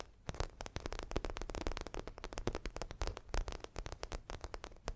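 Long nails scratch and tap across the croc-embossed surface of a medium red zippered makeup bag in faux leather, held up in the air. The result is a rapid, dense run of short, dry, crackling taps and scrapes with a soft low thump beneath them, each one dying away almost instantly.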